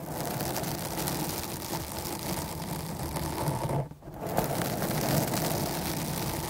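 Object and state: Foam microphone windscreen being scratched.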